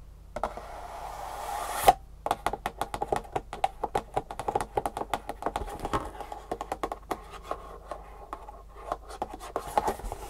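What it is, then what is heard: Cardboard box tapped and scratched with fingernails. Long fingernails scratch the end face of a hollow, printed green cardboard Superfeet shoe insole box held at an angle, making a rising dry hiss that ends in a sharp tap. Fast tapping follows: a steady run of many quick, hollow, papery knocks with a slight midrange resonance, with brief scratchy rustles between them.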